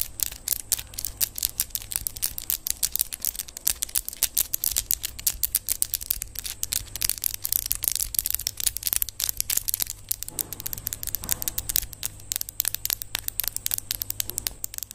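Long yellow acrylic press-on nails, small hard hollow-ish plastic tips, are tapped and clicked against each other with the fingertips while held in front of a microphone without touching it. The result is a rapid, continuous stream of sharp, bright plastic clicks with very short decay, over a faint steady low hum.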